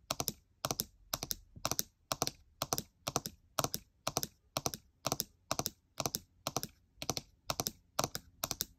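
Long nails tap quickly on the plastic keys on the right side of a gold MacBook Air keyboard. The result is a steady run of short, bright, clicky bursts, each made of a few rapid taps, separated by brief quiet gaps.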